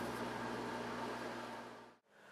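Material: Nothing is struck.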